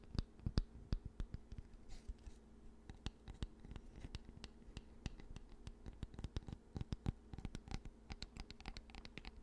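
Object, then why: Wooden hair brush back. Fingertips and nails tap and scratch the smooth surface of an oval, solid wooden hair brush back held close to the mic. A quick, uneven run of short, dry clicks and light scrapes sits over a faint, steady low hum, each tap dying away almost instantly.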